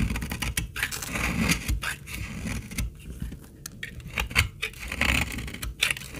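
A snap-off utility blade scrapes and cuts shavings from a solid, dark brown, old dried laundry soap bar held in the hand. Dry, gritty scraping strokes and crisp crackles come in quick bursts, with bright rasping highs over a low rumble.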